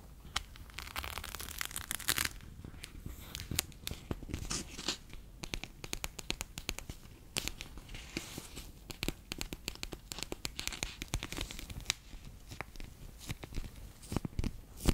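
A bear-shaped clear PVC pouch full of orange water beads is picked up from a table and held in the hands, then squeezed and rubbed with fingertips and nails. The result is a steady stream of sticky, crinkling crackles and sharp little tearing clicks, bright and dry with almost no ring, over a soft low rumble.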